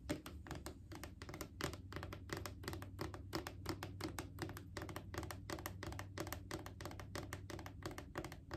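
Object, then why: Plastic wipes canister. Long acrylic nails tap and lightly scratch a Clorox disinfecting wipes canister, a mid-sized hollow plastic cylinder. The result is a quiet, fast, uneven run of short, crisp clicks with a hollow plastic body and bright edges. The taps die away almost at once over a steady low hum.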